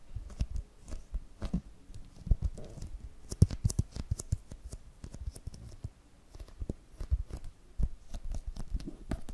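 Long pink nails scratch and tap across the glossy printed cardboard cover and edges of a small spiral notebook with a solid paper block. The result is a dense run of quick, dry, low taps mixed with soft scratching. Each tick is short and dies at once, with no ring.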